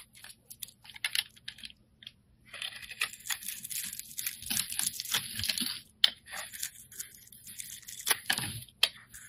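A steel utility blade shaves curls from a hand-held, solid, translucent orange embossed glycerin soap bar. Quiet, bright, crisp scraping and tearing strokes come in short bursts and longer drawn passes, with a few sharp clicks and almost no low end.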